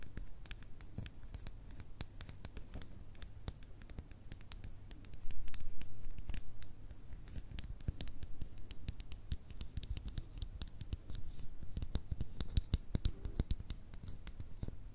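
Long red nails tap and scratch the blue plastic ice-cream-swirl lid and sides of a small plastic "Fluffy Slime" cup, apparently full. Rapid, uneven clicky taps and scratchy strokes run throughout over a steady low hum, with a louder stretch of scratching around the fifth to sixth second.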